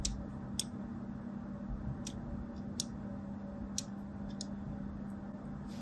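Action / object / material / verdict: scrape / bar soap scored with a thin blade / soap / none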